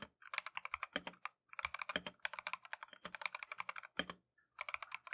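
A compact Keychron V1 mechanical keyboard with Tangerine switches and green and white Matcha plastic keycaps is typed on continuously with gloved fingertips. Quick, bright, clacky keystrokes come in rapid bursts, with brief pauses near 1.4 and 4.3 seconds. The clicks die away almost instantly and have very little low end.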